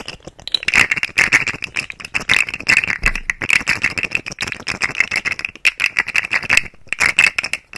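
A rainbow segmented plastic fidget slug toy with hollow nested segments is held upright next to the microphone and twisted and wiggled by the fingers. It makes rapid, dense clicking rattles with a bright tone centered near 2.6 kHz and very little low end. Each click dies away almost instantly.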